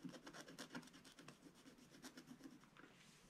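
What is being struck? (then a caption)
Black-coated scratch-art paper scratched with a wooden stylus. A wooden stylus scratches small areas of a black-coated scratch-art card page in a spiral book. It makes a quick run of short, dry rasping strokes with a bright, gritty texture and a faint low body. The strokes come fast at first, then grow softer and more even toward the end.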